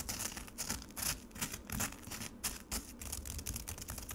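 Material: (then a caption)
Ice. Fingertips and nails scratch and rub the icy surface of frozen lemonade slush in a black plastic tray. The result is an irregular run of bright, gritty scratching bursts with a crisp crackle, set against a faint low rumble.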